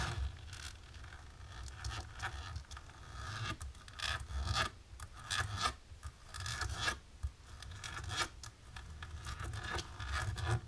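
Long natural pink nails of both hands scratch and rub a flat, dark embossed plastic sheet. The result is a steady run of dry, raspy scratching strokes, with bright textured bursts that rise and fall in loudness over a low background rumble.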